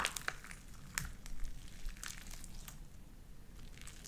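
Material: Slime.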